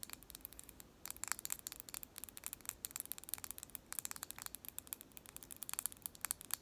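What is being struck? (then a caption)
Wooden pencil. A long, sharpened pencil of solid wood with purple paint is held between the hands and scratched and tapped along its shaft with long nails. Quick, dry, bright clicks and scratchy ticks come in fast bursts, with brief pauses near one second and just before four seconds. The sound stays quiet and thin, with almost no low end.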